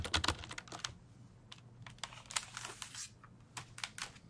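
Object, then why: Plastic computer keyboard. A black plastic full-size computer keyboard with a hollow body is held up in front of the microphone while fingertips type and tap on its keys. A quick flurry of sharp, bright plastic clicks comes first, then a short pause and scattered single taps. Each click dies away almost at once with a light hollow knock underneath.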